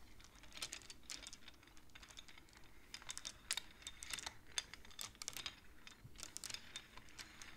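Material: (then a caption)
Wood. Long polished nails and fingertips slide and click the colored painted wooden beads of a large wooden-framed abacus along its thin metal rods, set against a black board. Quick, dry, bright clicks come in irregular bursts with very little ring, like soft rapid tapping, over a quiet low background.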